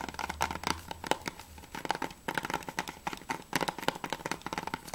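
Fingertips rapidly tap and nails scratch on a closed hard plastic PS3 game case of Remember Me as it is held and turned from front to back. Quick, dry clicks with a hollow plastic tone near 870 Hz mix with faint crinkly scratching, and each tap dies away almost at once.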